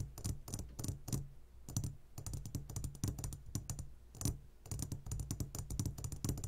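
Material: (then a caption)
Glass. A clear glass jar full of gummy candies is tapped fast with the fingertips of both hands, giving a rapid, uneven stream of short, dry clicks. The clicks form clustered bursts, each with a faint bright glassy edge over a low, soft thump.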